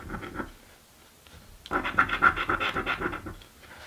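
A coin scratches the coating off a "Mystic Riches" paper scratch lottery ticket, with a few soft scrapes, a quiet pause, then a fast, rhythmic run of dry rasping strokes. The scratching fades into light handling of the card at the end.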